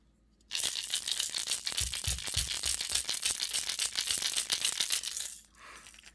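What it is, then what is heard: Crankbait lure with mixed rattles (large clackers and BBs). A plastic 6th Sense crankbait fishing lure is shaken, its internal rattles of big clankers and BBs, with a whole bunch in the head, mixing to make a distinctive knock. A dense, bright, rapid rattling clatter starts after a brief silence and runs steadily for about five seconds, then drops to a faint softer tail.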